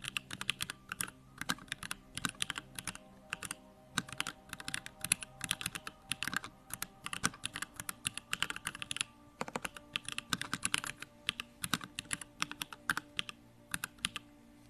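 Fast fingertip typing on a backlit compact Bakeneko65 mechanical keyboard with Durock Lavender switches and plastic keycaps. The result is rapid bursts of short, bright keystrokes that stop almost instantly, with very little low end. A faint steady hum sits underneath.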